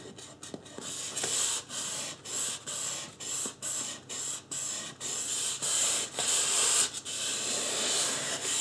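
Fingertips rub and scratch the scalp area of a life-size white polystyrene foam mannequin head. The result is a series of bright, hissy scratching strokes in a loose rhythm, with short gaps between bursts and a high squeaky edge.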